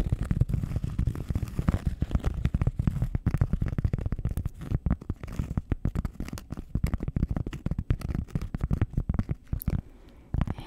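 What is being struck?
Round cork pad scratched with nails.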